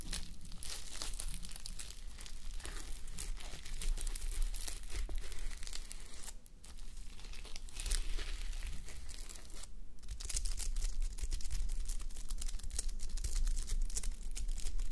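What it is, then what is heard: Sequin fabric sleep mask. Long nails scratch across a flip-sequin sleep mask, with plastic sequins on fabric, worn on a mannequin head. The result is a dense, continuous crinkling and scraping rustle with bright, crisp clicks over a steady low hum. The rustle briefly eases around the 6.5- and 10-second marks.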